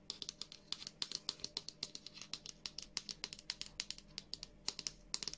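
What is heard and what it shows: A hand-sized white and blue plastic Revolution Beauty squeeze tube of moisture gel, apparently full, is held in both hands and tapped and scratched with long nails. About three dozen quick, dry, bright clicks and taps come in an uneven rhythm, each dying almost instantly, over a quiet, faint background.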